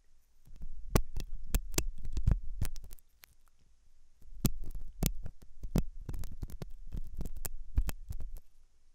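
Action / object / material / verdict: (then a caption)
scrape / silicone dummy ear of a microphone / silicone / none. A thin hooked metal dental tool scratches inside the ear canal of a soft, solid-looking white silicone dummy ear on a binaural microphone. The result is dense, low, rumbling scrapes and muffled thumps punctuated by sharp crackling clicks. There is a brief quieter pause near the middle.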